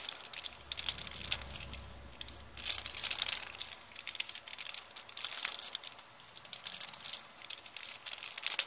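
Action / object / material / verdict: scrape / thin kraft paper bag / paper / none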